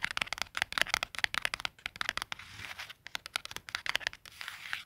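A small, flat, white cardstock clothing price tag with a barcode and a punched hole lies on a plaid wool blanket and is scratched and rubbed with fingertips and short nails. Rapid, dry, crinkly scratches and rubs come in quick bursts, bright and papery with almost no low end. Short stretches of softer, continuous rubbing fall between the sharper strokes.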